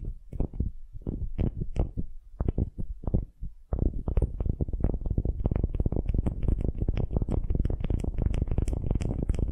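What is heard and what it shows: A solid wooden ball held in both hands is scratched with long glittery nails, producing dull, low, rumbling scratch strokes. The strokes come spaced apart for the first few seconds, then turn into rapid, nearly continuous scratching with faint brighter ticks on top, with no ring after each stroke.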